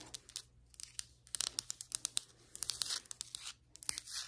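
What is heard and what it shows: Long white acrylic nails on both hands tap and scratch across flat, solid ceramic floor tiles. The result is a rapid, uneven run of bright, crisp clicks with no ring, broken up by short, hissy scraping passages.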